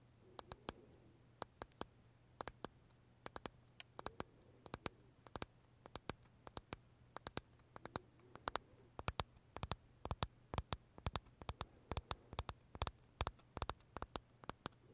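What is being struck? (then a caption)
Macaron with meringue shell. Short nails tap the crisp meringue shell of a large purple blueberry macaron held in the fingers, making dozens of quick, sharp, dry clicks with a bright edge that stop almost instantly. The tapping starts sparse and quiet and becomes faster and louder over a steady low hum.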